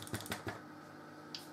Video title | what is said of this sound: How To Make {THE BEST WHITE BATCH BREAD EVER} From Home | if you tap on them and it's quite Hollow like that